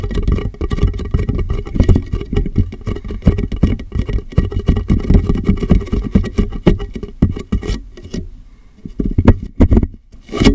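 Fingertips tap the base and sides of a large, empty, clear plastic water jug that sits hollow and upside down on a microphone. A rapid, dense patter of short, boomy, hollow low thuds runs steadily, each dying away almost instantly. The tapping thins out near the end, with quieter gaps before a final burst.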